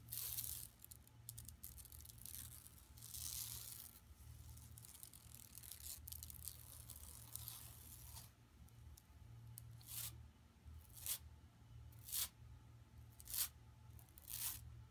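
Long nails scratch the printed center of a flat, empty yellow woven plastic mesh tote bag lying on carpet. For the first eight seconds they make a continuous bright, raspy scraping. This then gives way to five short, separate strokes over a steady low hum.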